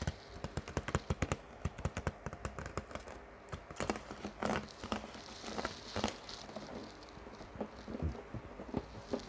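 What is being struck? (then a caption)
Ribbed plastic water bottle, partly filled. Long turquoise-painted fingernails tap and scratch along the ridged body of a large, clear, ribbed PET plastic water bottle that is partly filled with water and hollow. A quick run of sharp, crisp plastic taps comes first, each dying away almost instantly over a low, hollow thud. Softer, scratchy rasps follow as the nails drag across the ridges, mixed with scattered brighter clicks.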